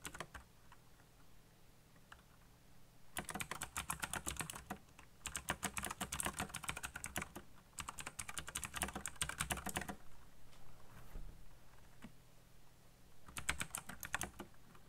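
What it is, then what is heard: Plastic mechanical keyboard. Fingertips rapidly type on a backlit black plastic mechanical keyboard, producing fast bursts of sharp, bright key clicks. The flurries come in several runs separated by quieter pauses, over a steady low hum.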